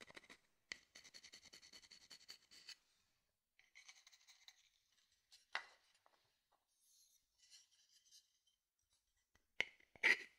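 A small, hollow, empty dark-brown wooden bowl is held close and its surface is scratched and rubbed with a wooden spoon or stick. The result is dry, bright, rasping strokes in quick bursts, broken by short silences and a few sharper taps, with a pause where the spoon is briefly lifted away from the bowl.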